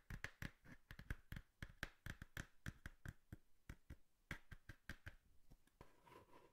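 Long nails tap and scratch the flat side of a small, hollow, brown cardboard box held close to the mic. A quick run of sharp, dry taps with hollow low thumps and a papery midrange gives way in the last second to a softer, steadier scratching rasp. The sound is quiet, close and short-ringing, with little high brightness.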